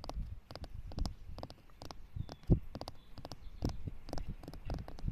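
Long pink nails tap and scratch the surface of a flat, weathered concrete or stone slab lying solid in the grass. The result is a quick, irregular run of short, dull, low-pitched taps with almost no ring, mixed with faint scratching, all at a quiet level.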